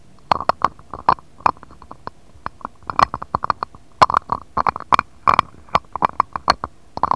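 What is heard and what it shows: A jade stone roller is rolled and tapped across the surface of an empty, shallow, round, clear patterned glass dish. It makes a quick, irregular series of sharp, bright clicks and taps, each with a brief glassy ring near 1 kHz that dies away almost at once.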